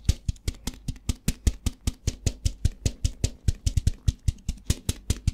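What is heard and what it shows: A plastic tub filled with rice is tapped with fingertips and shaken, producing a rapid run of about 31 short, dull, low thumps. Each thump carries a brief bright rattle of rice grains and dies away almost immediately.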